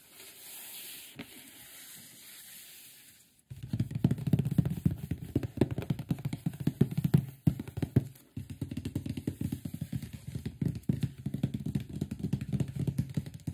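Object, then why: Closed cardboard box. Hands and fingertips tap and rub the front face and top of a large, closed, printed cardboard microphone box. A few seconds of faint, hissy rubbing give way to a dense run of quick, dull, low-pitched taps and scratchy brushing. The taps pause briefly twice near the eight-second mark before resuming steadily to the end.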